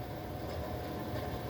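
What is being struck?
Nothing is struck.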